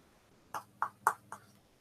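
A metal medical cast or brace is tapped four times, each tap a short, dry knock centered around 1.1 kHz with faint bright overtones. The taps die away almost instantly, with quiet background between them. The taps mark the cast as metal.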